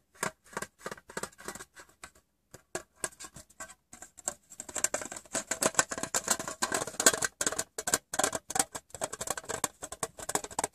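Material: Metal.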